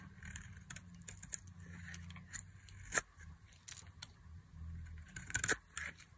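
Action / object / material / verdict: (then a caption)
scrape / glycerin soap bar cut with a metal blade / glycerin soap / none. A solid translucent green glycerin soap bar held in the hand is carved into long strips with a metal blade, giving soft scraping and cutting sounds. Sharp, bright clicks and crackles cut through the scraping over a steady low hum, with one louder snap near the middle and another cluster toward the end.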